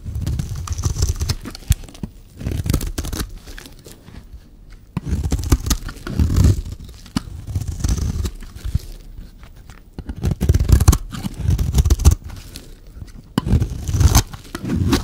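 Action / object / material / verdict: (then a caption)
scrape / bar of soap / soap / none. A solid, dry yellow bar of soap held in the hand is scraped with a metal knife blade. Bursts of rough, crunchy scraping and crumbling come in repeated passes, separated by brief quieter pauses. The sound is mostly low and dull, with little high brightness.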